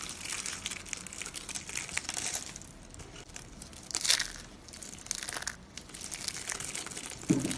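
Fingertips with long nails squeeze a pink and green roll of dry soap, one of several small rolled curls of dry pink, green and blue soap on a stone countertop, and crush it into brittle flakes that scatter around the other rolls. A dense, bright, dry crinkling crunch runs throughout, with louder snapping bursts partway through and at the end.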